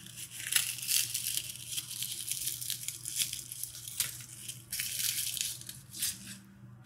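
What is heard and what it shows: A loose pile of dry, brittle red rose petals on a tabletop is crushed, rubbed and crumbled between the fingertips of both hands. It makes a dense, continuous crisp crackling and crunching that is bright and almost entirely high-pitched, with a faint low hum underneath. The crackling swells in several louder bursts before easing toward the end.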